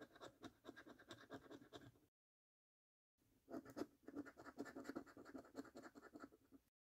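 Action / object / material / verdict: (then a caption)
scrape / paper scratch card with scratch-off coating / paper / none. A coin edge rubs the scratch-off coating from a thin paper National Lottery "Snack Stack" scratch card lying on a dark table, clearing the order numbers and games. Quick, uneven bursts of dry, gritty scratching run in two passes split by a brief silence, and the second pass is louder and denser.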